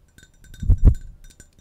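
A large, empty, hollow, clear cut-glass pitcher with a handle is tapped and scratched with long nails. Soft, dull low taps and light scraping build to two louder, thudding knocks near the middle, with faint, brief glassy clinks above. Each sound dies away almost at once.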